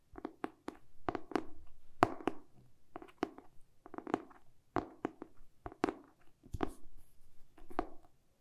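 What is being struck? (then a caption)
Hardcover book with a cardboard cover. A medium-sized solid hardcover book with a glossy printed cardboard cover, held upright in both hands, is tapped and scratched with short pink-painted fingernails and fingertips. Quick, dry clicks and soft thuds come in irregular clusters over a faint scratchy rustle, each tap dying away almost at once.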